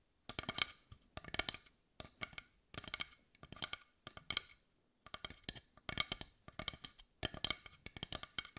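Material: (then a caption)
Wood. A large carved wooden heart of dark brown, visibly grained wood, held in both hands, is tapped and scratched with long white almond-shaped nails. Quick bursts of bright, dry clicking taps and light scratches come in clusters separated by short pauses. Each tap dies away almost instantly, with a woody tone centred around 2.2 kHz.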